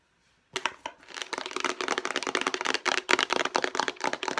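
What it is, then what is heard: Plastic food storage container. A hollow, light blue plastic food storage box is rubbed and scratched with long nails. After a brief silence, a dense run of fast, irregular scratching and crinkling clicks builds and continues to the end, dry and bright with almost no low end or ring.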